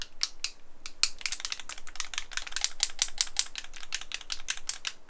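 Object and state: Paint bottle with a mixing ball inside.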